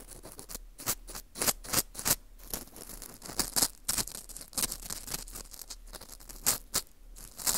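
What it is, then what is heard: Dried wheat gluten ring scraped. An orange plastic earpick scrapes inside the hole of a porous dried wheat gluten ring (fu) held in gloved hands. The result is a run of short, dry, bright scratching strokes with crisp bursts, little low end and no ring-out.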